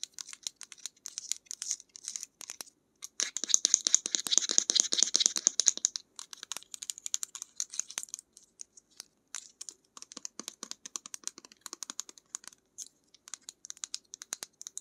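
Long nails tap and scratch a small plastic bottle of acrylic paint, apparently filled with paint, with a black cap and a lavender label, held in the hands, tapping both the bottle and its cap. The result is a steady run of quick, dry, bright clicks with almost no low end and no ring, swelling into a louder, denser stretch of scratching and tapping for a few seconds before settling back into lighter, scattered taps.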